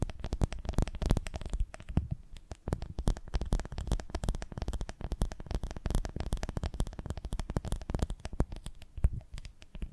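Long nails tap and scratch quickly along the ridges of a full, lidded ribbed glass honey jar held close to the mics. The result is a dense, fast stream of short, dull, bass-heavy clicks and scrapes with almost no ring, varying in loudness and briefly thinning out around the two-second mark.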